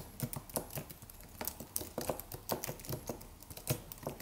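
Fingertips of both hands type on a slim silver aluminum computer keyboard with white plastic keys and a solid low-profile body. It makes a quiet, irregular stream of short, dry key taps with soft low thumps and bright clicky ticks that die away almost instantly.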